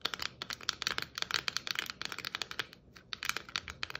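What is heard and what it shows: Long nails tap quickly across the stripes and metal cap of a hollow red and white striped plastic Christmas ornament ball. The result is a rapid run of dry, bright clicks with almost no low end and no ring, with a brief pause near the three-second mark before the tapping resumes.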